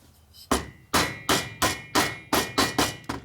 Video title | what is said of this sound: #105 1977 XLCR 1000cc motor rebuild thunder heads XL sportster Harley ironhead tatro machine | You can hear it bottomed out.